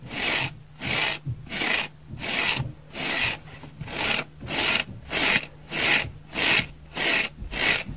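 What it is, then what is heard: Dry foam sponge being scratched. Long fingernails scratch across the surface of a dry orange oval foam sponge with large pores, held in the hand. A steady series of short, bright, raspy strokes repeats with brief quiet gaps between them, carrying little low end.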